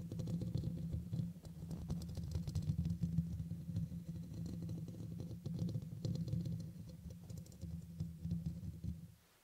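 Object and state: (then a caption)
Metal mesh microphone grille. Fingernails scratch and tap around the sides of the hollow black metal mesh grille on a red microphone. It comes across as a dense, boomy low rumble with a steady low tone, dotted with fast, irregular clicks and faint bright scratches. The sound drops away to near silence in the final half second.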